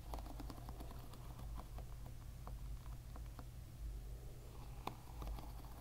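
Fingers rapidly strum the plastic pins of a plastic-pin hairbrush lying bristles-up, making dense, quiet clicking and tapping. A steady low hum sits underneath the whole time, and one sharper click stands out near the end.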